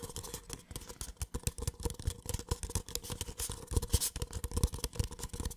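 A small, empty, hollow white paper cup is tapped and scratched on its wall and base with the fingertips close to the microphone. Dense, rapid, soft taps and scratches give a low, hollow thump under a bright, papery rustle.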